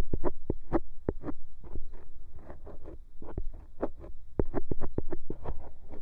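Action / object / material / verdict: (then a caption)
scrape / silicone microphone ear scraped with a bamboo ear pick / silicone / none. A thin bamboo ear pick repeatedly scrapes inside the hollow canal of a white silicone microphone ear, heard close-up. A rapid series of short, dry scratching strokes comes through as deep, muffled thumps with faint brief crackles above. Each stroke cuts off quickly with almost no ring.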